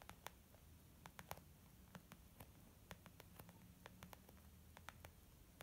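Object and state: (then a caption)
Leather makeup bag. Long almond-shaped nails tap on a small white textured leather zip makeup bag lying flat, its soft, hollow body giving a dull response. About twenty quiet, sharp clicks come in an uneven patter, each dying away almost at once over a faint low hum and hiss.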